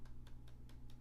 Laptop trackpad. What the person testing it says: it gets worse as you go down